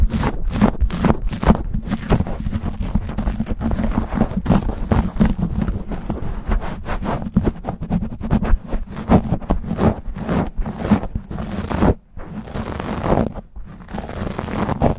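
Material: Foam.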